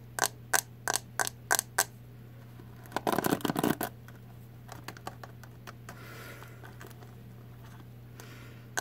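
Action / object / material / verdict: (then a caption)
tap / plastic hairbrush back / plastic / none. Long nails tap the hollow green plastic back of a hairbrush: six sharp, evenly spaced clicks, then a rapid scratchy flurry of taps, then fainter scattered taps. A steady low hum runs underneath throughout.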